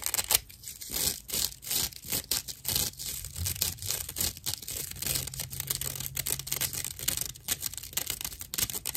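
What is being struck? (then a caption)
Dry natural loofah sponge. Long nails scratch along the edge of a dry natural loofah sponge with visible hollow chambers. The result is a steady run of rough, bright, papery scratching strokes, each a short rasp that ends almost at once, with a faint low hum underneath.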